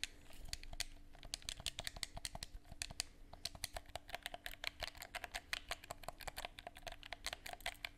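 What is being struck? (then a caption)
Plastic game controller. Buttons on a handheld, hollow black plastic gamepad held in both hands are pressed and clicked with the fingers in a quick, uneven stream. Each press makes a short, dry, bright plastic click with almost no ring, over a faint steady low hum.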